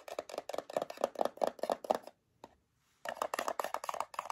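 A small printed metal tin of gummies, closed, is turned in the hands and tapped with long fingernails on its sides and label. A quick run of light, clicky taps with a mid-pitched metallic tone and almost no ring stops for a silent pause broken by one lone tap, then another brisk run follows.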